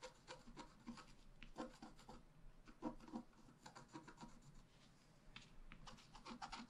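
A wooden stylus point is scratched across a flat A4-size scratch-art sheet with a black coating over a rainbow layer, lying on a table while the other hand holds the sheet. Short, dry rasping strokes repeat in quick, uneven bursts with a soft low-mid body and faint bright edges. Each stroke stops with almost no ring, and the whole clip stays quiet.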